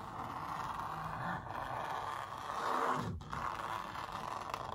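Long nails and fingertips scratch-trace the outlines on a large printed canvas stretched over a hollow-backed wooden frame. A steady, papery scraping rustle centers in the midrange, with slight swells and brief dips as the strokes change direction.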